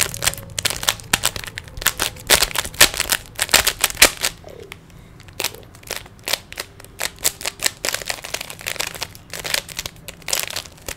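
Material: Plastic.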